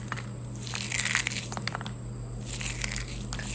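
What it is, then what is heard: Crisp fried flour cookie. A cooled jaggery kadakani, a deep-fried cookie made from wheat flour and gram flour, is broken by hand. It gives a series of sharp, dry, crackling crunches with bright highs over a steady low hum. The sound confirms it is crisp and fully fried.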